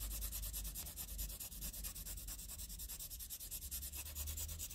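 A green wooden pencil rubs and scratches with fast strokes across a flat sheet of graph paper covered in graphite shading. A rapid, steady run of bright, dry scratching pulses sits over a low rumble, each stroke quick and closely spaced with no ring after it.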